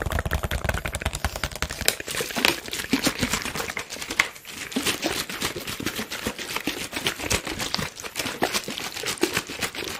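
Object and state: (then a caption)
Plastic water bottle. A clear, hollow, thin-walled PET water bottle with a teal label is squeezed, crinkled and tapped with fingertips while being waved close to the microphone. Dense, bright crackling and quick sharp clicks run almost continuously, with a low rumble near the start and a brief lull around the middle.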